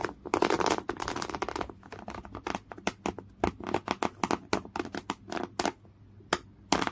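Fingernails scratch across a folded piece of thick beige coarse woven cotton canvas cloth. The first seconds are a dense run of quick, dry, bright rasping strokes, which then thin out into separate short scrapes with quiet gaps between them.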